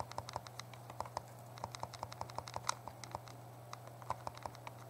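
A small, hollow, translucent purple plastic Game Boy Color is held in both hands while the thumbs rapidly press and tap its buttons. The result is a quick, uneven stream of short, dry plastic clicks with a hollow tone near 1 kHz and bright edges, over a steady low hum.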